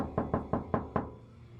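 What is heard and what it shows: Five knocks on the steel door panel of a Honda Prelude with no sound deadening. Each knock gives a hollow, tinny ring centered in the low-mid range that dies away quickly. It is the tinging noise the missing deadening leaves.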